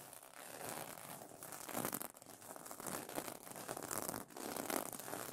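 Dark-painted nails scratch and fingers rub the plastic sequins of a sequin pillow cover stretched over a soft pillow. The result is a continuous, quiet, bright crinkling and scratchy rustle that swells in waves as the sequins flip and click against each other.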